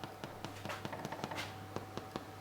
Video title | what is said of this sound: Cathy makes vegan challah | it sounds hollow and that's what you want